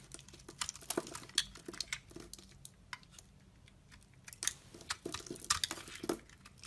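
A utility knife blade shaves thin curls and flakes from a solid, translucent orange glycerin soap bar held in a hand with painted nails. Quiet, crisp scrapes and sharp bright clicks come in quick, uneven bursts, each ending almost instantly with no ring.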